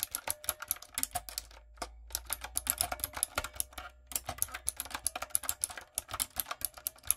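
Fingertips and long nails type on a light-up, typewriter-style retro mechanical keyboard with round plastic keycaps. Rapid, bright, sharp clacks and clicks come in quick bursts, broken by brief pauses near two and four seconds, over a faint low hum.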